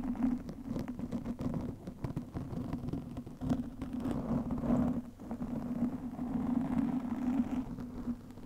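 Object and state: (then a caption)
Foam microphone windscreen scratched. Long nails on both hands scratch and rub a soft, porous black foam windscreen over a microphone. The result is a steady, close, muffled scratching and rustling with a low hum around 240 Hz and many quick crackles, and no voice.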